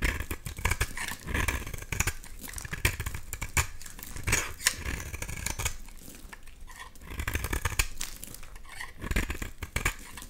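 A box-cutter blade scrapes a solid, bright green oval bar of soap, shaving off crumbly flakes. Rapid, dry, scratchy crackles and rasps come in dense bursts with bright edges and dull low thumps, and each burst dies away almost at once.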